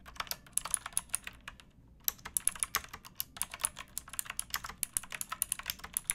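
Fingertips with painted nails type on a pink backlit plastic mechanical keyboard with round keycaps and a hollow case, resting on a wooden box. A steady run of sharp, bright, clacky keystrokes with little low end pauses briefly near the two-second mark, then resumes. Each click dies away almost instantly.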